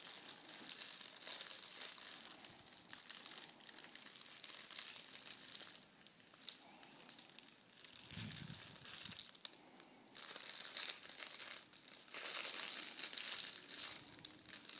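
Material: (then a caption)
Metal foil. A folded sheet of red metallic foil gift wrap with a darker underside is pressed, folded and rubbed flat by hand on a wooden table. It makes dense, bright crinkling and crackling with irregular sharp bursts, easing into a quieter stretch in the middle with a brief low thump, then building back to loud rustling.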